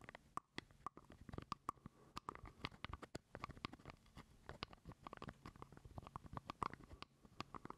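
Fingernails scratch and tap a small, hollow purple plastic jar lid held close to the mic. A rapid, uneven stream of dry, sharp clicks and scratchy rustles carries a faint hollow ring around 1 kHz. It stays quiet and intimate throughout.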